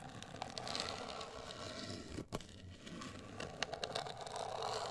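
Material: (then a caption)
Cardboard. Long acrylic nails scratch and tap a hollow, medium-size black printed rigid cardboard cosmetic box. A steady, dry, crackly scraping runs throughout, briefly dropping with a sharp tap near the middle. Bright clicky taps stand out toward the end.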